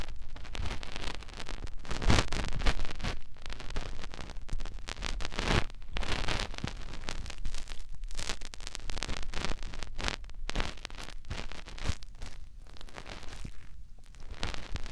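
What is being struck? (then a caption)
Silicone microphone ear. Fingertips rub the soft silicone ear of a white binaural microphone, working over the outer ear and the entrance of the ear canal. The result is a steady, close rustling and scraping with dense low rumble and brief brighter bursts of friction noise throughout.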